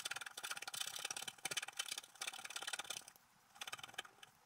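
A wooden stylus scratches near the bottom edge of a flat coated scratch-art paper sheet on a table while the other hand steadies the sheet. Quick, dry, bright scratching strokes come in busy bursts, break off into a short near-silence, then pick up again for a last flurry.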